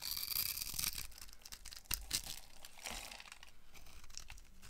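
A utility knife blade carves and scrapes a solid, hand-sized, peach-colored bar of dry soap held in one hand with long painted nails, cutting it into cubes and flakes that crumble off. The result is a dense, bright, crumbly scraping and crunching with sharp cracking snaps partway through, quiet and close overall.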